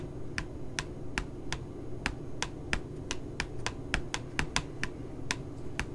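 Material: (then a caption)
Paper. Long glittery nails tap and scratch the glossy puppy-photo cover of a pink spiral notebook lying flat. Seventeen short, sharp, bright clicks ring out at an uneven pace over a steady low rumble.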